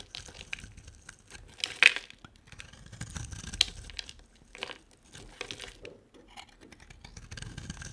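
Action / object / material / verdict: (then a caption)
scrape / bar of soap / soap / none. A solid, hand-sized, green-and-white striped bar of dry soap is carved and scraped with a utility knife blade. Quiet, crisp, bright scraping and crunchy cuts come in short bursts, with the sharpest cuts near 2 and 3.5 seconds.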